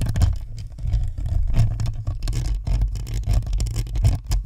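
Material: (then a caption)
Plastic, metal. Long nails scratch across the top of a white spherical Blue Snowball microphone, rubbing its hollow plastic shell and perforated metal grille. The scratching comes through as a continuous stream of deep, muffled rumbling strokes centered around 109 Hz, with brief brighter scraping flicks on top.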